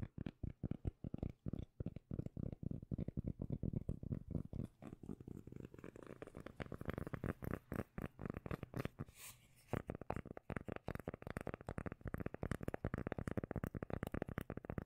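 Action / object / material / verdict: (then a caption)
scrape / round cork lid / cork / none. Long nails rapidly scratch a round cork lid, first held close to the camera and then near the microphone. The result is a dense run of quick, dry, low-heavy scratching strokes with a deep, bassy body and little brightness, broken by a brief pause near the middle.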